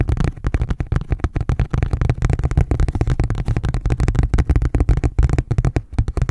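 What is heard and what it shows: Fingertips rapidly tap and scratch a thin, red, ridged plastic food container lid as it is moved around. The result is a dense, continuous stream of short, dull, low thuds with quick scratchy rustles between them and almost no ring after each tap.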